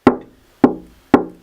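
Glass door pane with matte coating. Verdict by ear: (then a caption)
Solid. Three taps on the glass panes of a studio door, which are treated with black matte and set at different levels to throw the glass off balance. Each tap gives a short, solid knock with a low-mid tone around 285 Hz. The ring dies very quickly, so the glass sounds more solid and vibrates far less than plain glass would.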